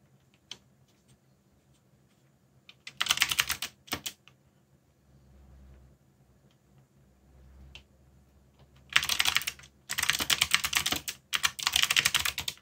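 Fingertips type on a backlit mechanical keyboard with black plastic keycaps, producing bright, rapid clicking in short bursts around three and four seconds and then longer runs from nine seconds to the end. The quiet gaps between bursts hold only a faint low hum.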